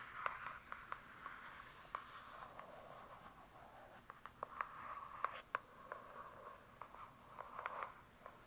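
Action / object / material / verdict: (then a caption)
tap / hardcover book with paper-covered cardboard cover / cardboard / none. Long acrylic nails slowly tap and scratch on the glossy paper-covered cardboard cover of a thick, solid hardcover book lying flat. About 17 short, crisp clicks with no ring stand out, pitched around 1 kHz with bright edges. A soft, scratchy rasp fills the quiet gaps between them.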